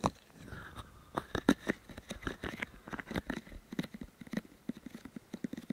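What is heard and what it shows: Fingertips of both hands rub and press the white silicone ears of a 3Dio Free Space microphone with fast, repeated touches. The result is a quick, uneven run of short, dull thumps and soft crackles, with faint rubbing between them. Each touch dies away almost at once.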